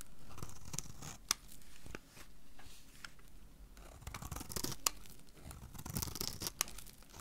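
A solid, hand-sized teal-blue soap bar is held in the hand and cut into small cubes with a small metal knife. The blade makes soft, gritty scraping and slicing sounds, broken by a few sharp, bright clicks as the pieces cut through.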